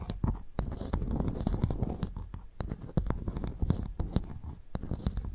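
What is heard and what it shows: A pearl clam's shell is tapped and scratched before the clam is opened for pearl extraction. Sharp, dry taps with almost no ring are heard over a continuous low, muffled scratching, with most of the energy in the low range.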